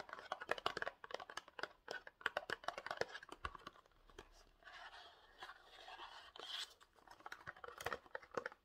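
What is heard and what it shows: A small rectangular gold printed cardboard box for Pantene hair spray, with the bottle likely inside, is scratched and tapped with short nails. Quick dry clicking taps come in busy clusters, broken by stretches of soft, scratchy rustling mostly in the midrange. The sound is quiet and close, and each tap dies out almost instantly.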